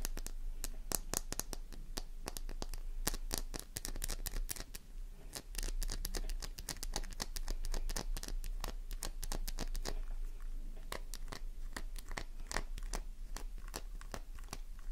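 A small, solid, pink flower-shaped bar of soap is held in one hand while long nails scratch quickly across its embossed surface. The result is a dense, steady stream of sharp, dry, bright clicks and scratches with almost no ring, over a low hum.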